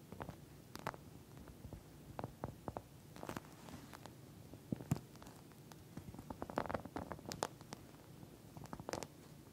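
Long nails scratch and tap across the surface of a pink plastic eye mask filled with gel beads. The result is a quiet, uneven patter of short, sharp clicks with bright ticks over soft, squishy scratching and a low rumbling undertone.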